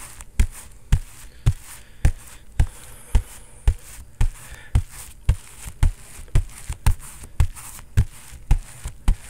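A bare fist pounds a synthetic leather boxing focus mitt, padded with foam under a vinyl cover, in a fast, fairly steady series of separate hits. Each strike is a deep, dull thump with almost no ring, landing just under two per second over a faint background hiss.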